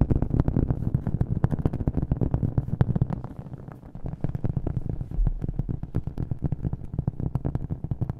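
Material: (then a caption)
Cork. A round, flat, thin cork coaster is held up and tapped quickly with fingernails, giving a fast, steady patter of short, dull, low-pitched taps with an echo effect added. The taps are muffled and bassy with almost no bright top end, dipping briefly in loudness around the middle before picking back up.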